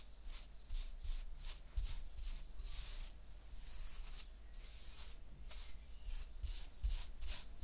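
A flat paintbrush with a wooden handle is brushed across a layer of tan kinetic sand spread on a white ceramic plate. Soft, bright, hissing swishes repeat in uneven strokes over a steady low rumble.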